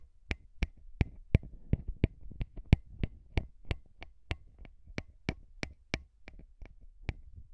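Short fingernails and fingertips of both hands tap and scratch two small metal-bodied microphone capsules on a handheld recorder. About twenty sharp, dry taps land in an uneven rhythm, each a bright click over a deep close-up thump. Soft scratching rustles fill the gaps between them.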